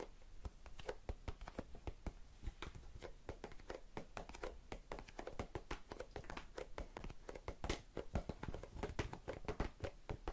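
Long red-painted nails tap and scratch a small, hollow, round blue and clear plastic tub full of cotton swabs. A rapid, steady stream of short, dry clicks and scratchy ticks runs throughout, with a low, hollow thud under each tap and almost no ring after each one.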